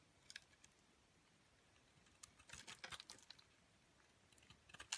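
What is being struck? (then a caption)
Bar of soap scraped by a metal blade. A metal box-cutter blade scrapes and shaves the surface of a solid pink Palmolive commercial soap bar, held in a hand with long nails, into flakes. Faint, bright, crisp scratches and crackles come in scattered bursts, thickest in the middle of the clip. It ends with a louder, sharp shaving stroke.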